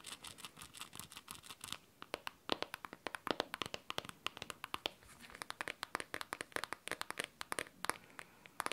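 A handheld blue smartphone is tapped and scratched on its back and screen side with long teal nails. The result is a rapid series of sharp, bright clicks with almost no ring, mixed with soft scratchy sweeps.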